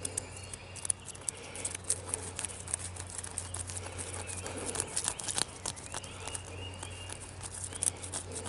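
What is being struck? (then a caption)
Tree trunk bark. Fingertips and knuckles repeatedly scratch and tap the ridged bark of a solid tree trunk, making quick, irregular dry clicks and brushy scrapes with a bright, crisp edge. Each tap dies away almost instantly over a faint, steady low hum.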